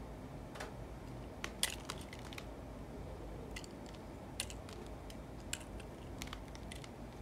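A yellow utility knife blade shaves and scrapes flakes off the surface of a solid rectangular bar of white soap held in one hand. The sound is a quiet, crumbly scraping, with short bright crisp clicks and snaps as flakes come away, over a steady low background hum.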